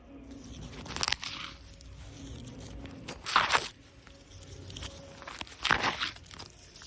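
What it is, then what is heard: Artificial grass. Plastic artificial grass decoration in a cafe is scratched and rubbed, giving crunchy, crinkly, tearing bursts with bright high edges. Three louder bursts stand out over quieter, steady rustling and a faint low background hum.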